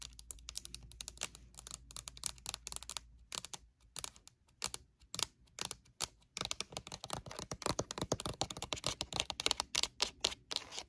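Long nails tap rapidly on the label side of a pink rectangular plastic lotion bottle with a pump, lying flat. The crisp, bright clicking comes in quick bursts, with each tap dying away almost instantly. The tapping thins out briefly in the middle, then returns faster and denser.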